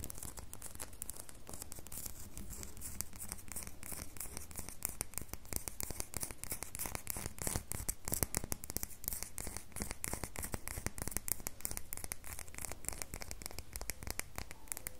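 A solid red bar of soap held in the hand is scratched and tapped with long fingernails, giving a steady run of quick, dry scratching clicks and taps. The rough, bright texture is mostly low-heavy with a constant hum underneath, and each hit dies away almost instantly.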